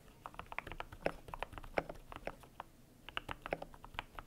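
Fingertips type on a cream compact mechanical keyboard with PBT plastic keycaps, producing quick, muted clacks with a mid-pitched tone around 550 Hz that die away almost instantly. The keystrokes come in steady bursts, with a brief pause near the middle before typing resumes.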